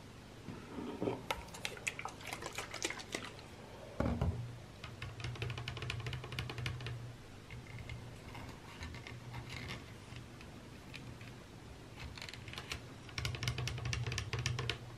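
Long nails tap and scratch a Sol de Janeiro body mist bottle of clear plastic with a white cap, partly full of amber liquid, as it is held and then laid on a bathroom counter. Quick, bright clicky taps come in bursts with scratchy rasps between them, over a steady low hum. A louder, fuller knock stands out about four seconds in.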